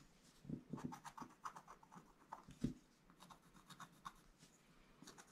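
A wooden stylus scratches and traces outlines on a flat black-coated scratch-art card page. The result is a quiet series of short, dry scratching strokes with a soft, papery rasp. One stroke near the middle stands out louder than the rest.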